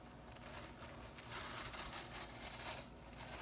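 Fingers with long nails rake and flick through the blue plastic synthetic bristles of a handheld broom head. The result is a soft, bright, scratchy rustling and crackling that swells louder through the middle and then eases back down.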